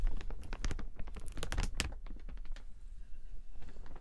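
A large open clear plastic umbrella with metal ribs has its canopy rotated and rubbed with the fingertips. Dense crinkling and rustling come in a quick run of sharp, crackly bursts that spread up to bright highs. The sounds are louder in the first two seconds and softer after.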